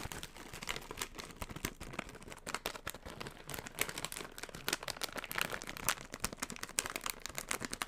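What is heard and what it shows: A yellow metallized plastic Funyuns chip bag is held in the hands and crinkled and squeezed with the fingertips. Dense, dry crackles and crinkles run steadily throughout, bright and sharp with little low end and almost no ring after each snap.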